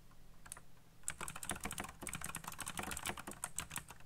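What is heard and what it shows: Fingertips type fast on a backlit black plastic mechanical keyboard with RGB lighting and hollow key switches. A few faint taps at first give way, after about a second, to a dense run of quick, sharp clicks with a bright, high edge and a hollow low thud. Each keystroke dies away almost at once.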